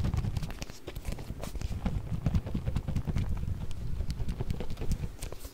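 A small round clear plastic food container with a blue lid, partly filled with orbeez, is shaken by hand on either side of the mic. The result is a continuous, irregular patter of soft, dull rattling taps with short, dry bursts.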